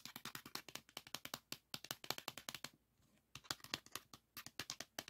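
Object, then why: Plastic floppy disk. Fingertips and nails tap rapidly on the paper label and plastic shell of a salmon-orange 3.5-inch plastic floppy disk held in the hand. The result is a dense run of short, dry, bright clicks with almost no low end, broken by a brief pause of near silence before the tapping resumes.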